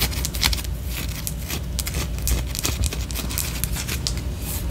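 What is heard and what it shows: A white solid wax pillar candle is held sideways and scratched with long orange nails. Repeated bright, dry scraping strokes flicker over a steady low rumble, keeping a fairly even loudness throughout.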